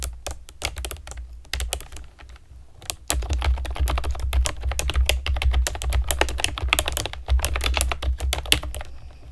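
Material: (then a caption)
Plastic. A compact plastic typewriter-style keyboard with round plastic keycaps and a hollow plastic body is typed on with long nails and fingertips. Quick, uneven runs of short, bright clicks and taps sit over a steady low hum. The typing is softer and sparser for the first few seconds, then becomes denser and louder.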